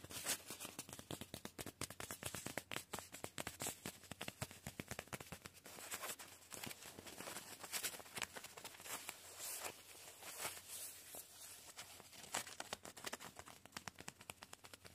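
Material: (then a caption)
Nylon. Fingertips and short nails scratch and pat a soft, padded painted nylon sleeping bag in green, grey and white, lying flat. The result is a dense run of quick, dry crinkles and light taps, bright and papery.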